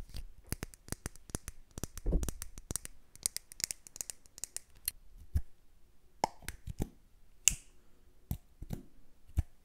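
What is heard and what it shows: A large glass candle jar filled with solid red wax, held in both hands, is tapped with long nails and fingertips. About eighteen short, dry, bright clicks come quickly in the first half, then more sparsely, with almost no ringing after each tap.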